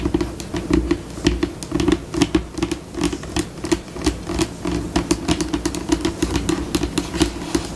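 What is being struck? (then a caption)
Laminate tabletop tapped and scratched with long fingernails. Long pink acrylic nails on both hands tap and scratch a flat, solid white glossy laminate tabletop, with the pace shifting between slow and fast. Sharp, bright clicks land in quick, uneven bursts over a scratchy, scurrying texture and a steady low-mid hum. Each tap dies away almost at once.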